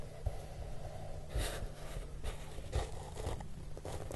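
Fingertips with short nails sweep and rub across the large, flat, hollow surface of a brown corrugated cardboard box. The result is a quiet, low, rumbling friction with soft, airy swishes that brighten briefly on the firmer strokes.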